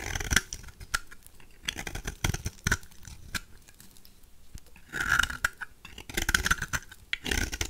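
A knife blade shaves thin curls off the face of a peach-colored, dry, solid rectangular bar of soap held in the hand; the soap is one of the Duru, BioMio, Fax or Svoboda brands. Dry, crisp scraping and crunching strokes come in quick bursts with brief pauses. The carving has a bright, gritty edge and each stroke dies away almost instantly.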